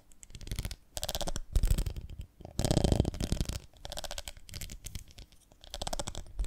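Long nails tap and scratch across the ridged sides of a medium, ribbed, beehive-shaped glass jar with a lid, full of honey. The sound comes in several dense bursts of quick clicking and rasping, separated by short pauses, with a dull, low-heavy body and a bright scratchy edge.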